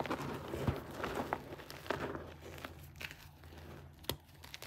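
A crumbled pile of grey gym chalk (magnesium carbonate), powder and small crumbly lumps, is dug into, squeezed and crushed by fingertips and thumbs and rubbed between the fingers. Soft, dry crunches and crinkly crackles come in uneven bursts over a low, muffled rumble, with a few sharper snaps standing out.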